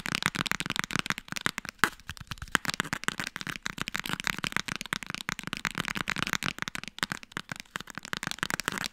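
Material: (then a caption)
Cardboard. Fast tapping on the hardcover book "Frontiers in webdesign" makes a dense stream of quick, dry, crisp taps. The taps are bright and die away almost instantly, with a brief thinner patch near the two-second mark before the rapid tapping picks back up.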